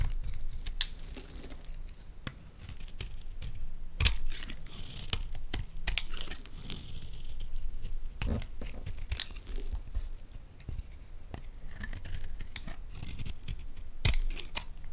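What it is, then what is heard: Bar of soap being cut. A solid white Palmolive bar soap held in the hand has its face and edge cut and scraped with a metal blade. Dry, crisp scraping and flaking sounds come in many short bursts with sharp bright clicks, over a steady low hum.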